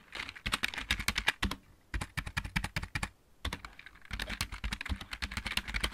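Both hands type on a full-size backlit plastic mechanical keyboard with fingertips and nails. Rapid bursts of sharp, dry clicks, bright on top with a low thump underneath, break off for two short pauses before the typing resumes.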